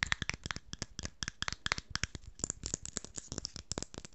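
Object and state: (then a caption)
Small jar metal lid tapped with fingernails. Long fingernails tap and scratch the silver metal screw lid of a small jar with a blue label, held close to the microphone. A fast, irregular run of sharp, bright clicks and short scrapes follows, each dying almost instantly, with a brief metallic ping now and then.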